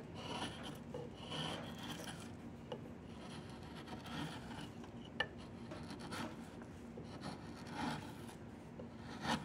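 A wood-handled steel chisel is pushed along a diamond willow walking stick, a long solid peeled willow branch with its bark partly removed, scraping and carving off bark and shavings. Repeated dry, raspy scraping strokes rise and fall at a low level, broken by a few sharp ticks as the blade catches the wood.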